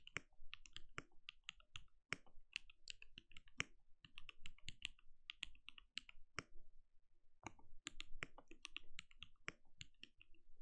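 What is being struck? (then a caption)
Mechanical keyboard with plastic keycaps. Steady typing with the bare fingertips of both hands on a compact RGB-lit mechanical keyboard with a translucent plastic case and plastic keycaps, resting on a desk. A dense, uneven stream of short, sharp clicks comes through, each with a bright tick around 2.2 kHz over a soft low thud. Every keystroke dies away almost at once.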